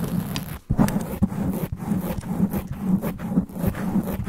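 Long black nails scratch fast and hard across a sponge foam microphone windscreen. The result is a dense, continuous low rumbling scrape with a muffled hum around the low midrange, broken by brief dips and sharper bursts of scratching.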